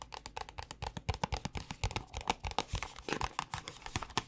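Long nails tap quickly on the top and sides of a small white paperboard cosmetic box, about 31 taps over four seconds. Each tap is a dry, short click with a hollow low thump and a papery midrange knock, dying away almost instantly between strikes.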